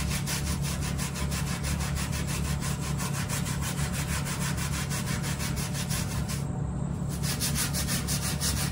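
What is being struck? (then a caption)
Plush microfiber bath mat. A small hand brush scrubs back and forth across the pile of a dry, brown plush microfiber bath mat while the other hand holds the mat in place. The rhythmic, raspy brushing strokes come about two to three per second over a steady low rumble, with a bright hiss on each stroke.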